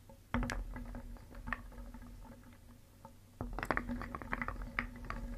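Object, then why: Painted wooden pieces in a wooden bowl. Small solid painted wooden shapes are stirred briskly with a wooden spoon in a round wooden bowl, clacking together in quick, dry, short knocks. The clacking comes in two busier bursts, one near the start and one just past the midpoint, over a steady low hum.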